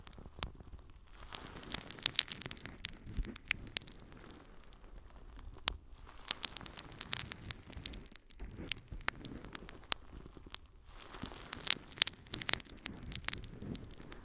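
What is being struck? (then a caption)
Natural sea sponge scratched with fingernails. A yellow, porous natural sea sponge is held in both hands and scratched with long nails. The result is dense, bright, crackly scratching and rustling, full of sharp little clicks. It comes in bursts separated by brief quieter pauses.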